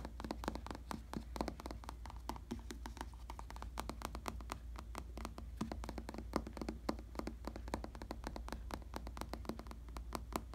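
Fingertips tap and scratch the surface of a firm, stuffed, padded black vinyl or faux leather bicycle saddle. They make a quiet, rapid stream of short, dry taps mixed with soft scratching. A steady low hum and a faint tone near 220 Hz sit underneath throughout.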